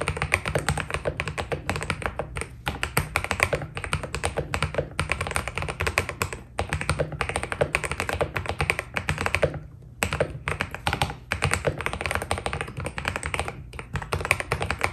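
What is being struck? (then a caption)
Mechanical keyboard with PBT keycaps. A white Keydous NJ80 mechanical keyboard with PBT keycaps is typed on continuously with the fingertips. A rapid, steady stream of short, dry clacks has a bright upper edge and a low, rounded thock underneath. Each keystroke dies almost instantly, and the typing breaks off briefly just before the ten-second mark.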